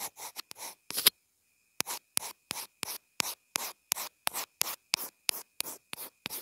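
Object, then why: Plastic earphone inline remote. A pencil point scribbles across a small white plastic inline earphone remote/mic in 19 short, bright, scratchy strokes. The strokes come in a quick run, pause briefly, then continue at a steady rhythm, with almost no low end and a faint steady tone underneath.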